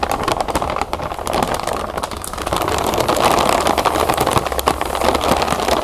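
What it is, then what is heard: Plastic bag of cereal puffs. Hands with long nails press and scratch a large clear plastic zip bag full of round puffed cereal lying on a table, crinkling the plastic and crunching the puffs. The sound is a dense, continuous crackle centered in the midrange, with sharp bright clicks scattered throughout and a faint steady low hum underneath, growing slightly louder toward the end.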